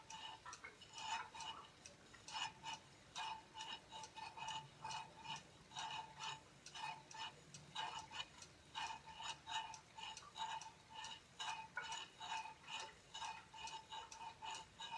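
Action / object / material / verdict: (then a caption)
tap / aluminum tablet stand plate / aluminum / none. Fingertips and nails tap the thin, rounded aluminum plate of a silver aluminum tablet stand lying tilted on a wooden table. About 26 light, bright metallic ticks come in an uneven rhythm over 15 seconds, each with a faint tone near 900 Hz. Each tick dies away almost at once, and the tapping stays quiet throughout.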